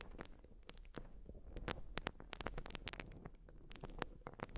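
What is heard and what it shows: A white, porous urethane foam sponge is scratched with long nails. It makes a quiet, continuous stream of dry crackling and rapid bright ticks over a soft low rumble, with no pauses.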